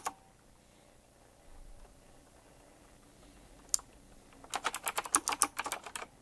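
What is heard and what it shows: Fingertips type on a retro typewriter-style mechanical keyboard with round plastic keycaps and metal rims. A single sharp click opens the clip, followed by near silence and a lone bright clack, then a fast, uneven burst of crisp, clacky keystrokes runs to the end.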